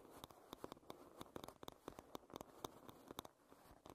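Long red nails scratch and tap the wooden back of a paddle hairbrush. About eighteen quick, dry, clicky taps with bright tops ring out over a soft, steady scratching hiss. Each tap is short and centered in the mid range, with no lingering ring.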